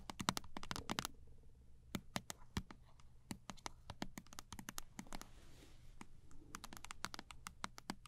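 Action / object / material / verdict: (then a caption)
tap / small plastic toothpaste tube tapped with fingernails / plastic / none. A small Sensodyne toothpaste tube of thin plastic laminate, held horizontally in both hands, is tapped rapidly along its body with long acrylic nails. Sharp, dry clicks come in quick uneven bursts with short pauses, each dying away almost instantly, and a soft rustle and a low hum sit underneath.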